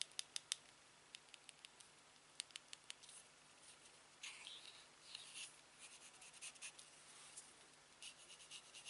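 A silver aluminium TV remote is turned over while fingertips tap and rub along its smooth metal back and body. Quiet, sharp, bright clicks and taps come first, then give way to soft, hissy scratching and rubbing strokes mixed with more light ticks.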